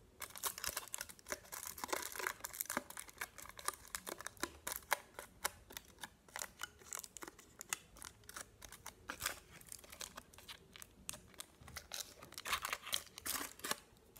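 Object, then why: Chocolate bar in aluminium foil. A solid chocolate bar wrapped in aluminium foil, its square pattern showing through, is tapped and scratched with fingernails while the foil is crinkled. The result is a dense, continuous stream of sharp, dry clicks, taps and crinkles that are bright and thin, with almost no low end and very short decay.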